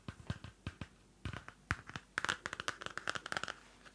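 Hands with long manicured nails flip the pages and scratch the card cover of a small pocket-size pink paper notebook with a white Pantone label and a solid stack of pages. A quick run of dry, papery flicks and scratches sounds out, sparse at first, then dense and bright with crisp rustling clicks that stop almost instantly.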